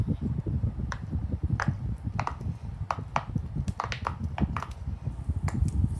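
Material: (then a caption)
Silicone. A small, flat, gun-shaped pastel rainbow silicone pop-it fidget toy with hollow bubbles lies on a printed poster on a tiled floor while a child presses and pops the bubbles with the fingertips of both hands. Quick, dry little pops and clicks with a short bright snap come one after another over a low, dull rumble. A second square pop-it lies nearby, untouched.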